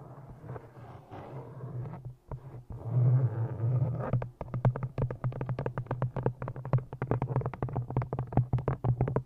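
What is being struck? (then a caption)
Cloth-bound hardcover book. An old green cloth-bound hardcover copy of "Ishmael" with an embossed cover is held in front of a microphone and worked with long nails. For the first four seconds there is a soft, scratchy, brushing texture over a steady low hum. Then a quick run of dull, muffled taps follows, each dying away almost at once, all deep and boomy with no bright edge.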